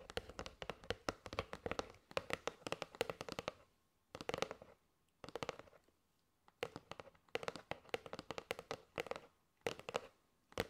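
A kraft cardboard box of paper straws is tapped with long nails on its side edge and face. Rapid bursts of crisp, dry clicks come with a hollow midrange tone around 470 Hz and bright nail ticks. The bursts are separated by short silent pauses, and each tap dies away almost instantly.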